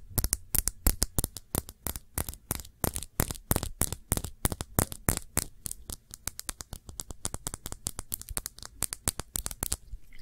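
Fingertips and nails tap rapidly on the glass side of a small glass perfume bottle filled with blue liquid and bearing a printed label. The taps are short, dry clicks with a bright, crisp top and a low thump beneath, falling in quick, uneven bursts for about ten seconds.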